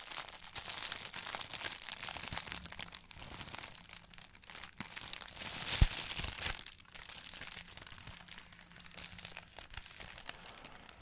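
A thin Daily Prophet printed paper bag is held in both hands while fingertips rub and crinkle its paper surface. The result is a steady, dense, bright crackling and rustling, with a low soft rumble underneath and one sharper, louder crackle about halfway through.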